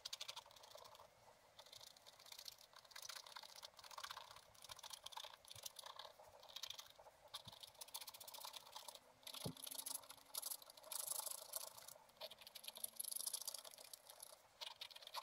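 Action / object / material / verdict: scrape / wax-coated scratch-art paper scraped with a wooden stylus / coated paper / none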